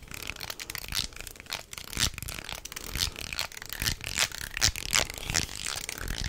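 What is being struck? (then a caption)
Wooden jointed snake toy. Hands hang, twist and flex a wooden jointed snake toy made of light wood segments, making the segments clack together. Irregular, bright wooden clicks and rattles come in quick clusters over a soft rustling bed, with short, dry decays.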